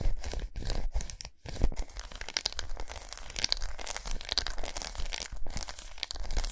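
Long nails scratch and tap a large, unwrapped solid milk chocolate bar with raised squares as it rests on a towel. The result is a steady stream of dry, crackly scratching and quick tapping with a crisp, tearing-like texture, punctuated by short brief pauses.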